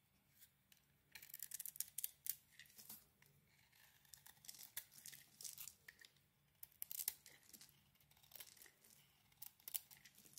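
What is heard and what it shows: A utility knife blade scrapes the mauve outer layer off a solid, hand-sized oval bar of soap with a blue inside. Quiet, crisp, bright scraping and shaving comes in irregular bursts separated by short pauses, over a faint steady low hum.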